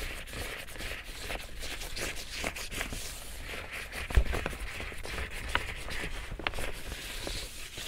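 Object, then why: Woven plastic tote bag. Fingers scratch and rub the front face of an empty large pink woven plastic tote bag with grey handles. The result is a steady, dry crinkly rustle with bright scratchy texture and a low rumbling undertone, broken by a few sharper, louder scrapes.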